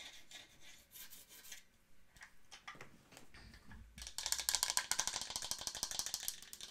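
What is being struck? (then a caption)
Small wooden mantel clock. Long nails tap and scratch the wooden sides of a small, hollow wooden mantel clock, giving soft, bright, irregular clicks and rasps. A low thud follows as the clock is lifted. Its base and feet are then tapped in a fast, louder run of crisp, high, woody ticks that stop short with almost no ring.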